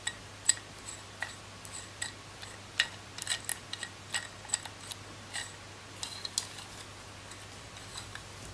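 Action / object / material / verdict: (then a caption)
tap / plastic roller massager / plastic / none. Long nails tap the body of a coral plastic roller massager and scratch across its rows of white ridged rollers. The result is a run of sharp, bright clicks and short scrapes with almost no ring, over a faint low hum.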